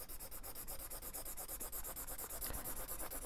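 A green felt-tip marker colors in a ray section on the paper page of an open paperback coloring book with quick back-and-forth strokes. It makes a soft, steady, scratchy rubbing with a bright papery hiss that pulses with each stroke over a faint low rumble.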